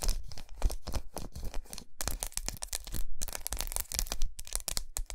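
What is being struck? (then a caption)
Large segmented milk chocolate bar. Long nails tap and scratch the squares of a large, unwrapped, segmented milk chocolate bar resting on a towel. The result is a dense run of quick, dry clicks and crinkly scratches, each very short, with a heavy low thump beneath and bright crackle on top. There are brief near-silent pauses just before 2 and 3 seconds.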